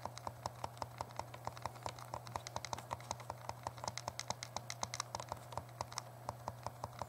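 Thumbs rapidly click the plastic buttons of a small, hollow, translucent purple plastic Game Boy Color held in both hands. The result is a quick, uneven stream of short, dry, bright clicks with no ring, over a faint, steady low hum.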